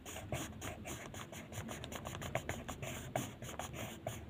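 A blue wooden colored pencil is rubbed back and forth in short strokes over a single sheet of white paper printed with a mandala, lying flat on a table. The result is a steady, dry scratching texture with repeated stroke accents and a bright, airy hiss on top.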